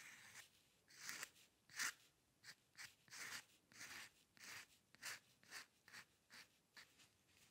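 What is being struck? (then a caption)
Steel pen nib on a paper sheet. A steel-nib dip pen with ink scratches fine hair strokes across a flat sheet of white drawing paper resting on a dark table. A steady series of short, dry, bright scratching strokes sounds with almost no low end, each one stopping quickly in a quiet space.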